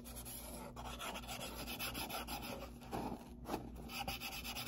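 Fingertips and nails rub and scratch across the surface of a closed, hollow brown corrugated cardboard box with a white label and a hand slot, and the box is briefly tilted. The sound is a continuous dry, papery rasp with bright scratchy texture and short grainy bursts, plus a low steady hum underneath.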